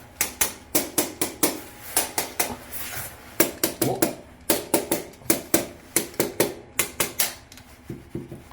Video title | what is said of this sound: 김포마송대방엘리움센트럴파크 84B 사전점검 구경하는집 | 이렇게 바닥 을 두드리면 단단 한 소리 가 납니다